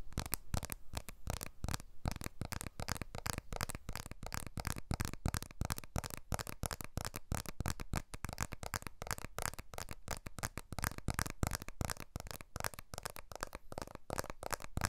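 A blue iPhone 12 smartphone with a glass back and aluminium frame is held upright in both hands while its glass back is rapidly tapped with the fingertips and short nails. The result is a dense, continuous stream of quick, dry taps, mostly soft and low-weighted with light clicky edges and no ring after each hit.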